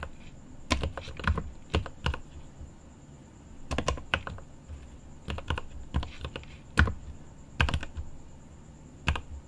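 A mechanical keyboard with plastic keycaps and an aluminum case is typed on by both hands with the fingertips. Irregular bursts of short, sharp key clacks with deep, thuddy bottoms land in quick clusters and die away almost at once. A faint steady high tone runs underneath.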